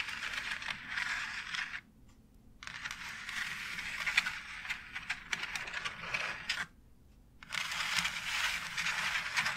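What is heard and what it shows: Long acrylic nails scratch and tap along the grooves of a flat white plastic wall tile embossed with a brick pattern. The result is a bright, dry, rasping scrape with quick clicks layered in, and the sound stops twice for brief silences.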